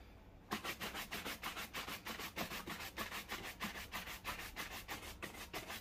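A black leather loafer worn on a foot is vigorously brushed with a wooden-backed bristle shoe brush, the bristles rubbing across the leather surface. After a brief quiet start, about 18 quick, brisk back-and-forth strokes follow at a steady pace, each a scratchy, bright swish.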